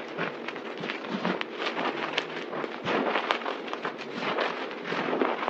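Hands scoop, squeeze and press a pile of white, crushed dry soap powder on a table with their palms and fingers. The result is a steady, dense crunching and crackling, with fine gritty textures and occasional sharper bright snaps. There is little low end.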